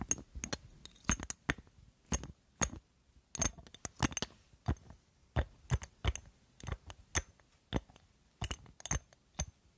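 A small, partly filled perfume bottle of solid-walled glass, wrapped in gold metal ornamentation set with colored stones, is held in one hand and tapped near the microphone with long glittery acrylic nails. The result is a quick, irregular series of sharp, dry clicks with bright, high glassy tinks and almost no ring, separated by short silences.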